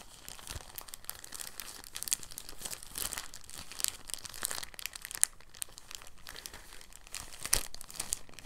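A thin, clear, empty soft plastic bag is held and folded by the fingertips in a gentle crinkling action. It makes quiet, continuous bright crinkles with scattered sharper crackles and a faint low rumble underneath.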